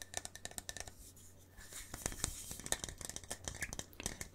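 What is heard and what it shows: Fingertips and nails tap and scratch the wall of a hand-sized, hollow, printed paper coffee-to-go cup with a red plastic lid. A quick series of dry, bright clicks and soft scratches is heard over a faint low hum. The tapping pauses briefly near the one-second mark, then picks up again.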